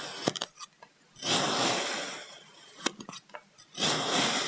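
A white ceramic knife slices thin slabs from a small, brick-sized solid purple kinetic sand block resting on a wooden table. Bursts of short, crisp taps and clicks alternate with two long, steady, bright, gritty scrapes as the blade draws through the sand. The sound is soft, dry and mostly high-pitched, with almost no low end.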